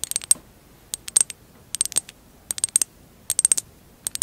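Long acrylic nails tap the rim and sides of a short, hollow, empty glass jar covered in mosaic tiles with a clear glass rim. About eighteen crisp, bright clicks come in quick clusters with short pauses between them. Each tap is thin and high, with almost no low end, and dies away almost at once.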